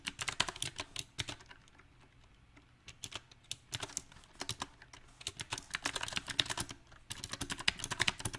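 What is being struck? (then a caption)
Mechanical keyboard with round plastic keycaps. Fingertips of both hands type on a small 68-key backlit mechanical keyboard with round typewriter-style plastic keycaps set on a silver metal plate. Bright, crisp clicky keystrokes come in irregular bursts with uneven rhythm, broken by brief quiet pauses before the typing picks up again.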